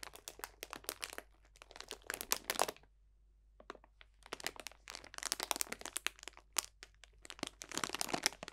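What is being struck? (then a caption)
Cellophane bag of dried orange slices and leaves. A clear cellophane bag of dried potpourri, full of dried orange slices and leaves, is squeezed and crunched with both hands. Dense bursts of bright, crisp crinkling and crackling come in quick flurries, stopping for a short quiet gap near the three-second mark before resuming. The crackles die away almost instantly, with barely any low end.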